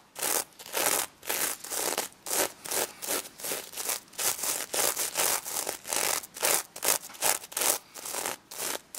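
Fingertips with long red nails rub and scratch back and forth across the sequins of a pink stuffed sequin plush pig toy. The result is a quick, uneven run of bright, hissing scratch strokes with short gaps between them and almost no low end.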